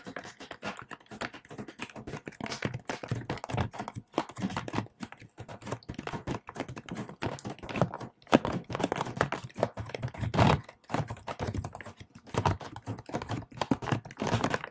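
Fingernails and fingertips tap rapidly on the lid and sides of a small clear plastic box with a black plastic tray, full of macarons and held close. The result is a dense run of quick, dry plastic clicks and taps with almost no ring.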